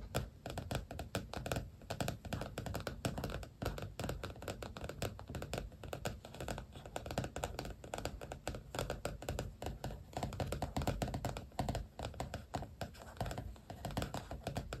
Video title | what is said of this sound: ASMR journal + stickers show & tell (tapping, scratching, tracing, soft spoken) | this journal has a soft cover so it makes kind of different tapping sounds